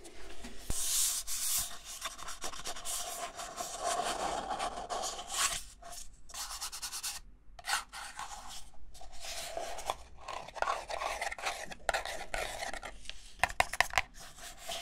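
Fingertips and short nails rub and scratch the outer wall and rim of a small, empty, hollow red-and-white disposable paper cup held upside down in both hands. The result is a continuous dry, papery rasping and scuffing with a bright hiss, broken by short pauses and a few sharper scratches near the end.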